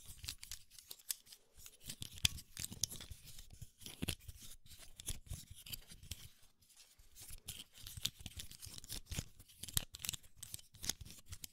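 A small, round, hollow black plastic snap-on camera lens cap is held in both hands close to the mic while fingertips pinch its side clips so they click and short fingernails tap and scratch its surface. The result is a quiet, dense run of sharp, dry clicks and scratchy taps with bright highs, a low thump under them, and no ring after each one.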